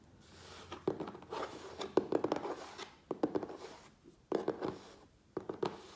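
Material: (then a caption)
Cardboard. Fingernails scratch fast along the top edge and sides of a medium, closed, hollow corrugated cardboard Priority Mail shipping box. The scratching comes in quick bursts of dry, papery rasps separated by brief pauses.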